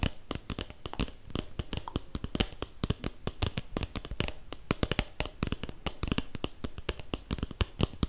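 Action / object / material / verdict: tap / paper cup / paper / none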